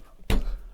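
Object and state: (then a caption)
Hollow-sounding bread loaf, baked through. A fist knocks once, not too hard so the crust won't tear, on the underside of a freshly baked loaf of bread. A single dull, low thump with a brief hollow ring quickly fades. It sounds hollow, so the loaf is baked through.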